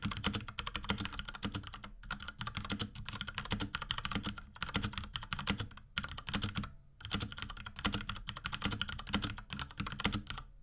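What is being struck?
Plastic mechanical keyboard.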